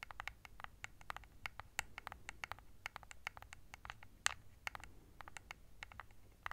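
Long nails tap rapidly on the button face of a small, hollow plastic LED remote control with colored buttons, held in one hand. The result is a quick, irregular series of sharp, bright plastic clicks, each dying away almost instantly, over a faint low background rumble.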